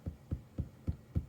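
Five dull, low thumps with very short decay as monk's cloth, pulled taut in a hoop, is tapped. The fabric is now stretched tight like a drum.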